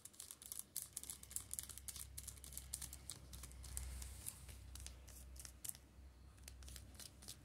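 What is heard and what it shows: Fingertips and nails scratch and tap the plastic shrink-wrap on the spines of a row of shrink-wrapped Steel Ball Run (JoJo's) manga paperbacks. The result is a rapid, irregular run of bright, crinkly scratches and short clicks over a steady low hum.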